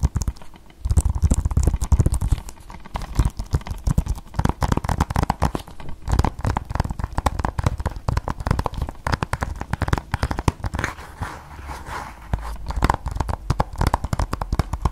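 A hard, thin-walled plastic Blu-ray game case for PS4 Battlefield, with a printed sleeve, is held in both hands close to the mic while fingertips and nails tap and scratch its surface and edges. The result is a dense, continuous run of quick, dry, crinkly taps and scrapes with a hollow, low-heavy body and very little ring.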